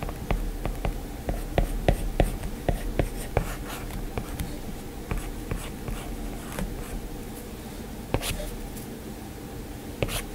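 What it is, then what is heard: Stylus tapping on a glass tablet screen. A plastic-tipped Apple Pencil taps and scratches across the glass screen of an iPad lying flat, making short drawing strokes. Crisp, dry clicks come in a quick, uneven run over faint scratching and a steady low hum. The taps thin out midway, with a few sharper, brighter taps near the end.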